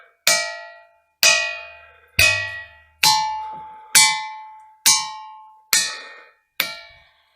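A boulder from the Boulder Batholith is struck with a hammer eight times at a steady pace. Each blow gives a bright, bell-like clang with tonal overtones that rings briefly before fading, marking it as a ringing rock.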